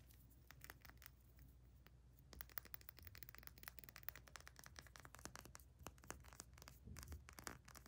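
Long nails rapidly tap and scratch the paper label and glass of a small amber glass essential oil dropper bottle with a black plastic cap. Quick, dry clicks and papery, crinkly scratches run continuously over a faint low hum.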